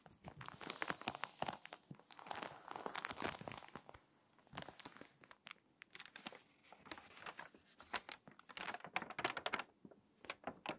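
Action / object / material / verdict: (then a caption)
scrape / glossy paper magazine / paper / none. A hand rubs the pages of an open, water-damaged glossy paper magazine, turns a page and presses it flat. Dense, dry crinkling and crackling bursts come in clusters, with bright, high rustles. Quieter, sparse crackles in the middle give way to a second flurry of sharp crinkles.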